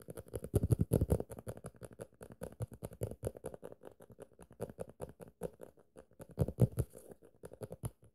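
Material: Paper.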